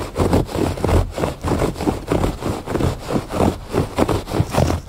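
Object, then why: Thick woven fabric rug. Fingertips and nails scratch the surface of a thick woven fabric rug lying flat. The result is a steady run of rough, low scraping strokes, each ending quickly, with a soft rustling texture and little high-end brightness.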